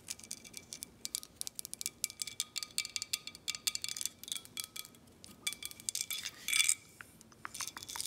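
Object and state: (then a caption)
Glass bottle. Long acrylic nails tap and scratch a clear, thick glass Herradura Ultra tequila bottle held in hand, working over its embossed horseshoe emblem and the glass around it. Rapid, bright clicks and taps come in quick clusters, each leaving a faint high glassy ring that dies almost at once. A louder, rougher scratching burst comes near the end.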